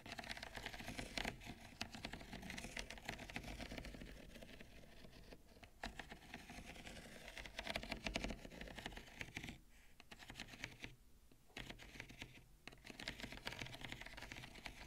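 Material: Ceramic.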